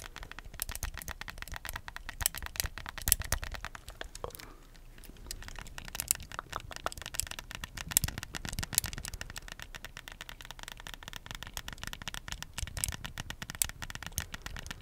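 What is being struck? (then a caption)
Plastic handheld game controller. A black plastic Wii remote, a hollow handheld electronic controller with buttons, is held upright close to the microphone and tapped and scratched with the fingernails of both hands. Rapid, dense, dry clicks mix with a scratchy crackle, with a brief quieter lull around four and a half seconds. Each tap dies away almost instantly, with no ring.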